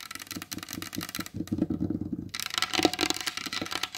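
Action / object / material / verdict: tap / varnished wooden tabletop / wood / none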